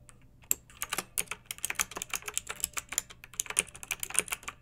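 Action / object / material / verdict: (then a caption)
tap / plastic mechanical keyboard keys / plastic / none. Long-nailed fingertips type quickly on a pink mechanical keyboard with round retro plastic keycaps and blue backlighting, resting on a fluffy rug. The keystrokes are a steady patter of sharp, bright, clacky clicks with almost no low end, each dying away almost instantly.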